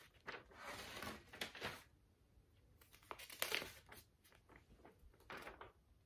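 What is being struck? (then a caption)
Paper notebook pages. Fingertips flip and fan several pages at once through a thick stack of lined paper in a large metal spiral notebook, bending and crinkling the paper. Bright, crisp crinkles and rustling swishes come in uneven bursts with quiet gaps between them, with little low end.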